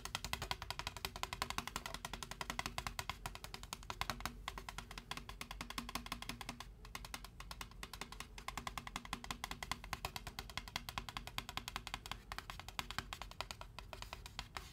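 Fingertips tap rapidly on the side wall of a large white foam Braum's drink cup with no lid. The result is a quick, steady stream of short, dry, hollow ticks with a light knocking tone around 1 kHz and a bright edge, each tap dying away almost instantly. The level stays quiet and even throughout.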